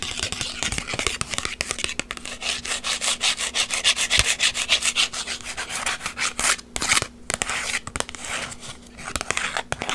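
Long white acrylic nails scratch and rub across a small, flat paper-and-plastic instant photo with a white frame and a gold textured image, held in the hands. The result is a dense run of quick, dry, bright scratching strokes with a rough, crackly texture, pulsing unevenly back and forth with a few brief pauses, over a faint steady low hum.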